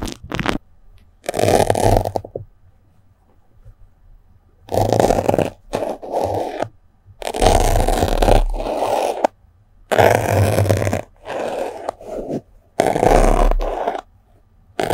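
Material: Melamine foam.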